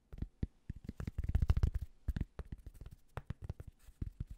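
Fingertips rapidly tap and scratch the fabric front panel of a light grey Penn State Nittany Lions baseball cap with a mesh back, held hollow and empty. The result is a quiet, irregular run of short, dull, low thumps mixed with soft fabric scratching, with almost no brightness and no ring after each touch.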